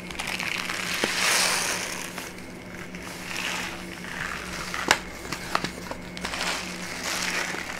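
A brown kraft paper pouch with a label is held and tilted while its paper is crinkled, squeezed and scratched with long nails. Soft, bright rustling swells and fades in waves, broken by a few sharp crackling ticks near the end. A faint steady low hum sits underneath.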